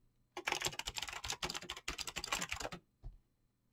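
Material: Plastic.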